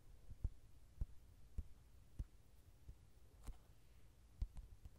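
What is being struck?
Softcover paperback book with card cover.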